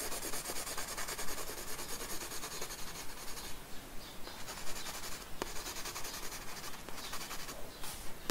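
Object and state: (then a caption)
Pencil shading on a paper sketchbook page. The side of a pencil lead is rubbed back and forth across a paper sketchbook page resting on a wooden desk to shade hair. It makes a steady, dry, scratchy rubbing with a soft hiss that rises and falls in quick, somewhat uneven strokes, each fading almost instantly.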